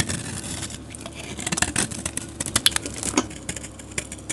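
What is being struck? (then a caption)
Bar of soap scraped with a metal blade. A metal utility blade scrapes shavings from a solid, dark grey rectangular soap bar with glitter patches, held in the hand. The result is a dense stream of crisp, bright scraping crackles and quick ticks with no ring, rising into sharper, louder cuts toward the middle of the clip.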